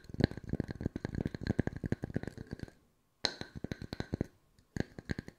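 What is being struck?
Wooden discs.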